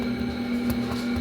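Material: Nothing is struck.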